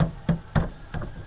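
Knocks on the rear-mounted spare tire cover of a repossessed Ford EcoSport produce three dull, low, hollow thuds around 164 Hz with very short decay. The cover sounds empty: the spare tire was used to replace a flat and never put back.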